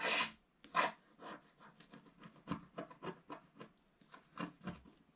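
A wooden stick scratches lines into a flat, black, wax-coated scratch-art page in a book while the other hand steadies the page. It makes a series of short, dry, raspy scratching strokes at an uneven pace, with bright, hissy texture and quick fades between strokes.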